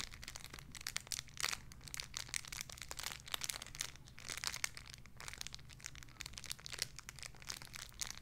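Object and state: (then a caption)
Plastic bag with squishy toy. A small clear crinkly plastic bag holding a soft pink squishy toy is crinkled and squeezed with fingertips and long red nails. Dense, bright crackles and crinkles run continuously for about eight seconds, with louder bursts scattered throughout over a faint, steady low hum.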